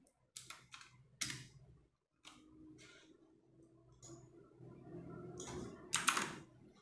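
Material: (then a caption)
Plastic. A compact 60% RGB-backlit mechanical keyboard with plastic keycaps is typed slowly with fingertips and long nails. It produces a sparse series of bright, sharp clicks and clacks with short, quick-fading tails. A faint low hum sits underneath, and the presses grow denser and louder toward the end.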